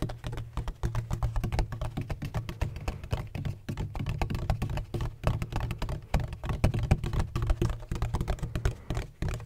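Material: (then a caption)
Plastic. Fingertips tap rapidly and unevenly on a large, hollow, black donut-shaped bottle with a red cap and a textured hard plastic surface. Each tap is a short, dull, low thunk that dies away almost at once. The hollow body gives the taps a deep, boomy tone with very little brightness.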